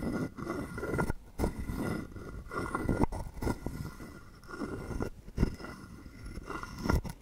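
A hollow carved wooden frog guiro rests in the palm while a wooden stick, set through its mouth slot, scrapes across its ridged back. The result is a series of dry, low, rasping scrapes in uneven bursts, with short pauses and no lingering ring.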